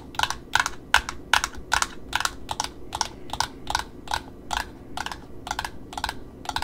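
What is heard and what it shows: Long nails tap the cardboard top disc and the ribbon edge of a small black satin ribbon spool, held sideways in the hand. The result is a steady series of crisp, dry, clicky taps, about two or three per second in a slightly uneven rhythm. Each tap is bright, cuts off almost at once, and sits over a faint low hum.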